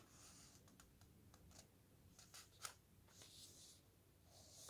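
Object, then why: Thin paper pages of a softcover book. Fingertips slide along the very thin paper pages of a thick softcover camping guide and turn them. Soft, bright paper swishes and light rustles rise and fade, with one sharper crisp flick of a page near the middle.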